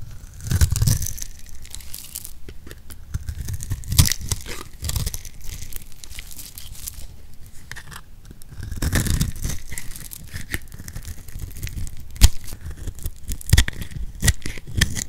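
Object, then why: Bar of soap. A utility knife blade shaves thin flakes from the surface of a solid oval purple soap bar held in the palm. The clip is a steady run of dry, crackling scrapes with soft crunching, punctuated by a few sharper bright clicks as the blade bites in.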